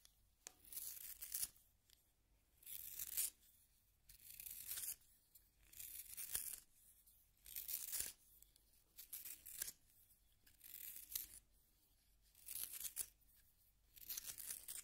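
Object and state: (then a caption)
Wooden pencil being sharpened. A solid yellow wooden pencil is twisted by fingers in a small pink plastic sharpener, and the blade shaves the wood. Repeated bursts of bright, high, crisp scraping and shaving come with each turn, separated by quiet gaps. The sound is soft overall, with almost no low end and little ring after each stroke.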